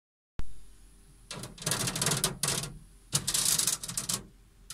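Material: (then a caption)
Metal. An unspecified metallic object is tapped and scratched. A single sharp tap opens the clip, followed by quiet, then several bursts of bright, rasping scratching and clustered tapping with a low thud-like body under a hissy high end.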